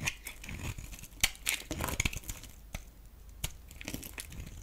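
A metal utility knife blade shaves and scrapes a solid oval green bar of soap held in the palm, sending curls falling off. The sound is a series of crisp, bright scraping and crackling strokes with sharp clicks, separated by quieter, crinkly stretches.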